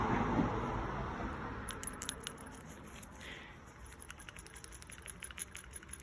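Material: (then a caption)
Metal. A metal PCV valve from a 2006 Mitsubishi Eclipse is held in the hand and shaken. Its little valve rattles inside as a quick run of light, fast metallic clicks over a low background rumble. The rattle shows the valve is working as it should.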